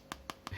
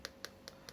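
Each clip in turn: First: plastic (polycarbonate) phone back. Second: glass phone back panel.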